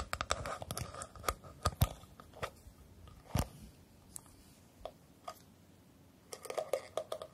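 Long nails and fingertips tap and scratch a hand-sized plastic scalp massager brush shaped like a flower, with a round center, plastic bristles underneath and a hollow body. Dense bursts of sharp, dry clicks and scratchy rustling open and close the clip, with sparser single taps scattered through the quieter middle. Each tap is short and hollow-sounding with almost no ring.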